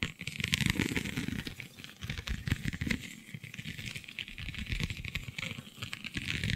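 Long nails scratch across a flexible, iridescent holographic vinyl sheet covered in raised scale-like bumps. The result is a dense, continuous stream of rapid crackly scratching, with a bright hiss over a low rumbling texture that swells and eases throughout.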